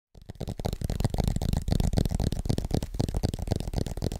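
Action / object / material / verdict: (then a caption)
tap / aluminum tablet back / aluminum / none. Fingertips tap rapidly on the aluminum back of a flat, thin iPad tablet with an Apple logo, held upright in both hands. A fast, uneven stream of dull, low thuds runs throughout, with almost no ring after each tap.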